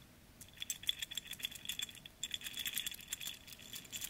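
A single silver stainless steel link-bracelet wristwatch is dangled by its bracelet from the fingers and shaken. Its metal links jangle and rattle against each other in bright, quick clicks with a high metallic ring, separated by a brief pause.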